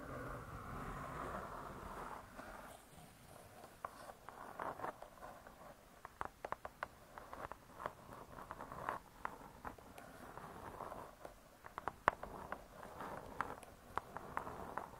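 Long nails tap the cardboard cover of a spiral-bound hardcover cookbook. The result is quick, dry, light taps over a soft, faint rustling bed, with brief clicks that die away almost instantly and a few sharper, louder taps standing out.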